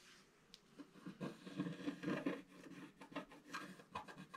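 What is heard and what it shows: A wooden stylus scratches the coating off a flat, black-coated scratch-art paper page. The result is a series of soft, irregular scratching and rubbing strokes with a dry, papery rasp that rises and falls in quick bursts.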